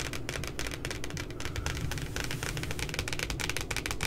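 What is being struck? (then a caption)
Cardboard notebook cover. Fingertips and long nails tap and scratch the printed puppy image on the glossy cardboard cover of a spiral notebook. A dense, rapid stream of crisp, bright clicks and scratches rides over a soft, low thumping body, with each tap dying away almost at once.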